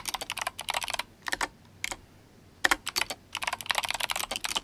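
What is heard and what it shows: Fingertips of both hands type steadily on a GMMK Compact, an RGB-backlit mechanical keyboard with Kailh Box White switches and plastic SA keycaps. Quick bursts of sharp, bright clicks and clacks come in rapid runs, with a short near-silent pause in the middle before the typing picks up again. Each keystroke stops almost instantly, with no ringing.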